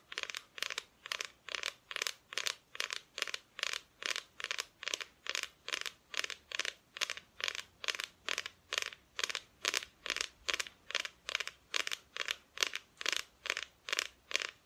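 Long nails tap the front of a flat, solid, painted wooden Christmas decoration cutout. The result is a steady, rhythmic run of short, bright, clicky bursts, a little over two per second. Each tap is dry, with no ring and almost no low end.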